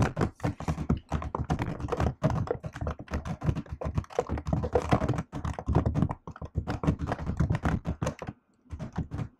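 Continuous typing on a laptop keyboard with plastic keycaps and an aluminium body, struck with fingertips and long nails. Rapid, dense runs of short, dull thunks and taps sit mostly in the low range with a bright clicky edge. A brief pause falls near the end before the typing resumes.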